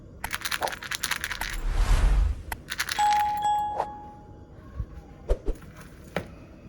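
Gingerbread rattle cookies, with bead sugar sealed inside a hollow made of glass candy, are shaken, and the loose beads clink and rattle inside like small coins. Quick bursts of bright rattling come in two rounds, with a brief rushing swell between them and a short ringing tone near the end of the second round. A few scattered clicks follow as the shaking stops.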